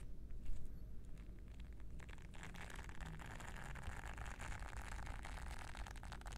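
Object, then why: Silicone scrubber pad with soft bristles. Fingertips scratch and rub across the soft bristles of a small, flat, solid, round blue silicone scrubbing pad held in one hand. Sparse crackling scratches at first quickly thicken into a dense, steady rustling texture over a constant low rumble. The sound stays quiet and even throughout.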